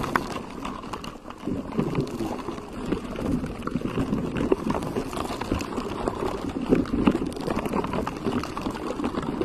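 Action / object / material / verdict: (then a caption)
scrape / textured silicone cover on a microphone / silicone / none. Fingertips of both hands scratch and rub a pink textured silicone cover on a microphone. The result is a dense, continuous scratchy rustle, strongest in the low-mids, with steady loudness and brief sharper peaks throughout.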